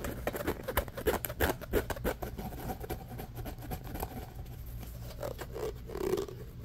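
An orange, hollow, corrugated plastic pop tube is held in both hands while fingernails scratch fast along its ribbed surface, making a rapid, uneven run of dry ticking rasps. The scratches are sharpest and loudest at first, then settle into a softer, steady scrape. Near the end, a duller, hollow plastic sound rises as the tube is stretched.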